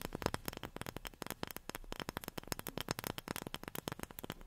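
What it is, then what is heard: Wooden object tapped with fingernails. A wooden object is tapped rapidly with long fingernails, giving about thirty short, dry clicking taps that die away almost instantly. Each tap is sharp and bright with a faint woody body, over a low background hiss.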